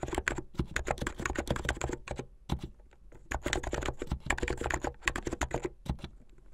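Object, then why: Plastic mechanical keyboard. Fast typing with fingertips with medium painted nails on a plastic mechanical keyboard with white and blue plastic keycaps and LED underglow. It makes rapid, short, clacky keystrokes with a low thock and bright clicks, with a brief pause near the middle before the typing resumes.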